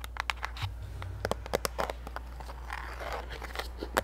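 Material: Cardboard, plastic.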